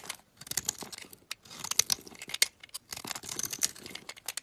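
A metal utility knife blade scrapes thin flakes off the flat face of a solid green olive oil bar soap held in the hand. Dense, bright, dry scratching strokes come in quick clustered bursts with brief pauses, with almost no low end and no ring after each stroke.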